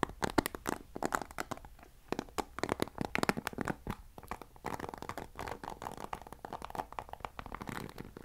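Fingertips and nails scratch and flick the bristle rows of a black plastic paddle hairbrush. The result is a quiet, rapid series of dry, crackly clicks and scratches with almost no ring, centered in the midrange with some bright edges.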